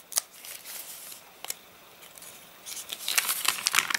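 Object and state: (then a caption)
Crinkling pages of a rain-dried paper catalogue. Fingertips bend, flip and crinkle the stiff, wavy pages of an open, rain-dried paper catalogue. Bright, dry crackles and sharp paper snaps come at irregular intervals with no low end, thickening into denser rustling crinkles toward the end.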